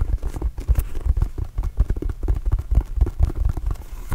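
A hollow, inflated red and blue Arizona Wildcats rubber mini basketball is tapped with fingertips and scratched with nails close to the mic. The result is a rapid, uneven string of dull, deep thumps with almost no ring, plus faint scratchy texture between them.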